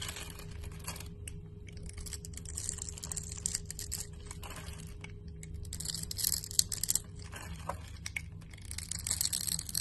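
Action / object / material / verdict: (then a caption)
scrape / glycerin soap bar / soap / none. A solid translucent orange glycerin soap bar with grid scoring is held in the hand and shaved into cubes with a utility knife blade. Dense, crisp scraping and crackling cuts fill the clip with bright, sharp detail over a steady low hum and a faint constant tone that stops near the end, with a few louder snaps toward the finish.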